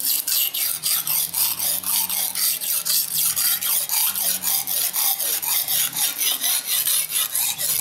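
A steel kitchen knife, held at an angle with fingertips pressing the blade, is rubbed along a dark grey rectangular solid whetstone to sharpen it. Bright, rasping scrapes repeat in a steady back-and-forth rhythm of about two strokes per second, each ending in a short pause.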